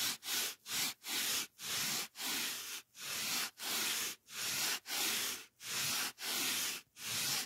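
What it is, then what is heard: Polyethylene foam sheet being rubbed. The edge of a white polyethylene foam packing block, held in the hand, is rubbed with the fingertips. The result is a steady series of bright, hissing scrapes, each separated by a brief silence.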